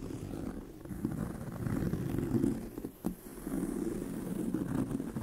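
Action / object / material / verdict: scrape / pebbled leather handbag / leather / none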